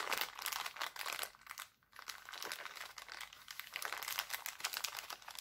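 Hands crinkle an empty, thin, clear heart-printed cellophane bag and squeeze it into a ball. The result is a dense run of sharp, bright crackles with almost no low end, broken by a brief quiet pause before the crinkling resumes.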